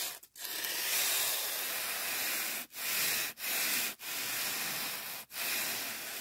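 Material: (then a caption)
Polyethylene foam. A fingertip rubs and strokes the edge and surface of a thick, soft, white polyethylene foam packing sheet. The result is a steady, bright, airy hiss with almost no low end. Each stretch of rubbing is separated by a brief, sharp pause.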